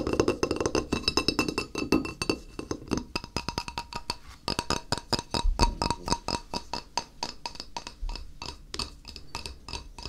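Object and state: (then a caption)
Glazed ceramic tile. Fingertips tap rapidly on the face of a flat, solid, white glazed ceramic tile held in the hand. The result is a fast, steady stream of short, dry clicks with a clear tonal ring near 940 Hz and bright upper overtones. Each tap dies away almost at once, and the opening seconds carry a fuller low-mid body.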